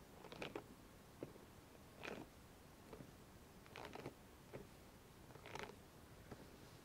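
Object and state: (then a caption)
Rubber spiky sensory ball being scratched. Long nails and fingertips scratch and rub across the spikes of a hollow, soft, hand-sized rubber spiky massage ball held between two hands. Quiet, irregular bursts of dry scratching and rasping come and go, some brief and some drawn out, with bright highs and a faint steady hiss between them.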